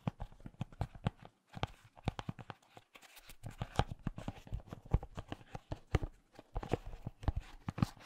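A small, glossy orange decorative pumpkin with a green stem, apparently glazed ceramic, is held in one hand and tapped with the fingertips of the other. A long, uneven run of quick, dull taps sounds mostly low and soft, each one dying away almost at once with little ring.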